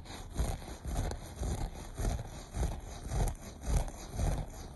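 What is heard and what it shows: Short nails scratch the pile of a beige looped carpet in repeated, fairly regular strokes. Each stroke is a dull, low, rubbing scrape with little high-end brightness.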